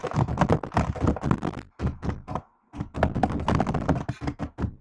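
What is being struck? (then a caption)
Plastic laptop keyboard keys. Long nails type on a laptop keyboard with plastic keycaps, producing a rapid run of short, dull key taps and thunks. The taps are weighted toward low tones and die away almost instantly, with a brief pause near the middle before the typing resumes.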